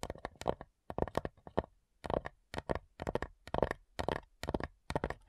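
Long nails tap the printed top lid of a small, hollow, light-wood cigar-style box with brass clasps. Quick, irregular clusters of dry, hollow clicks sit in the midrange around 500 Hz, each dying away almost instantly, with brief pauses between the bursts.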